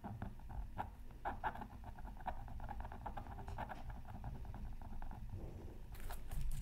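A bamboo stylus hatches fast, repeated short scratches across a flat black-coated scratch art card. The result is a quiet, steady run of dry, papery scraping strokes over a low rumble, with a few brighter, harsher scrapes near the end.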